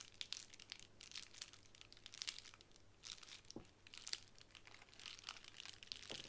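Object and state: Plastic bubble wrap.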